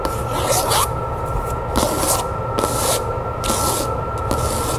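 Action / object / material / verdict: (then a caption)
scrape / cloth-bound hardcover book / cloth, board / none. Long nails tap and scratch the cover of a red cloth hardcover book with a gilt-lettered spine resting on a table. Bright, rasping scratch bursts alternate with short, dull taps over a faint steady tone.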